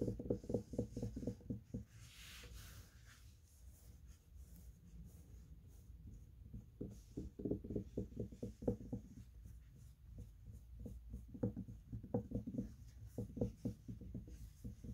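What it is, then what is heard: Faux fur plush fabric being scratched. Fingertips with short nails scratch and rub across a large piece of soft beige faux fur plush fabric fitted with a metal grommet. The result is quick bursts of soft, muffled, low scratching, with a quieter stretch of faint brushing and a brief airy hiss before the scratching picks up again.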